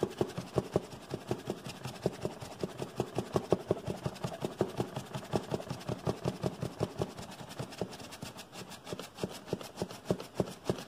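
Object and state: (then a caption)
Cardboard box. A medium brown cardboard box with a barcode label, hollow and held up, is rubbed and tapped with the fingers. Rapid, uneven hollow taps and dry scratching follow one another steadily for about eleven seconds, each tap short with almost no ring and mostly low-to-mid in tone.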